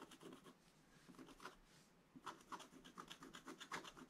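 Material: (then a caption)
Coated paper. A wooden stylus scratches away the black coating of a black-coated scratch-art paper page. Short, bright, papery rasping strokes repeat at about four per second, with a softer, steadier rub through the middle. Crisper, louder scratches follow in the last two seconds.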